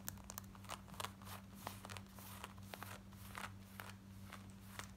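Long nails scratch fast across the front, thighs and back pocket area of worn black denim jeans. Quick, bright, rasping scrapes and crackles come in a rapid run over a steady low hum.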